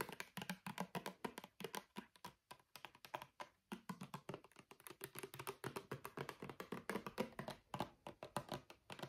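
Fingernails tap quickly on the sides and label of a small, filled, brown plastic argan oil bottle. The result is a fast, irregular stream of short, dry clicks with a mid-range body and very little ring, separated by a few brief pauses.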